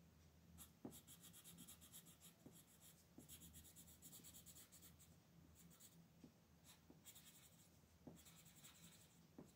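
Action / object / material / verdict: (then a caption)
scrape / colored pencil on a paper sheet / paper / none. A red colored pencil scratches and shades in quick strokes across a flat paper coloring page lying on a table, the sheet held down by a hand with pink nails. The result is a soft, close scratchy rasp with bright bursts of grain and light taps as each stroke starts, over a low steady hum.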